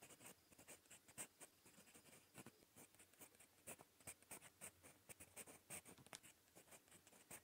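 A gold metal fountain pen nib writes in red-brown ink on a smooth, lined paper notebook page, scratching lightly across the surface. Quiet, bright, dry scratches come in a quick, uneven series of short strokes, each dying away almost at once, with little low end.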